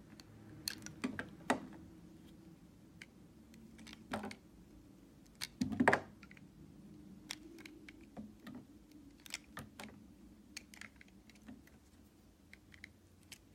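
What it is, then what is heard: Bar of soap being cut. A solid white bar of smooth vegan soap, held in the hand, is sliced with a red utility knife blade, shaving off curls. Quiet, crisp clicks and short scraping snaps come at an uneven pace, with louder scrapes near 1.5, 4 and 6 seconds against a soft low hum.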